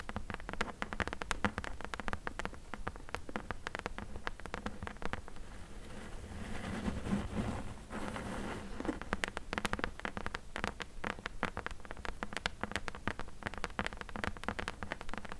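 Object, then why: Closed corrugated cardboard box. Long nails tap and scratch along the top edge and side panel of a closed, hollow corrugated cardboard box. Many quick, dry clicks come in rapid clusters over a low hollow thud, with a softer, steadier scratching stretch in the middle before the tapping picks up again.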